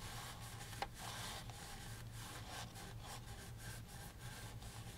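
A gloved hand rubs a microfiber rag over the canvas and inner frame edge of a framed oil painting with a wooden frame, lying flat on a wooden table. The result is a steady, soft, broadband rubbing hiss in repeated strokes, with one brief sharp tick early on over a low background hum.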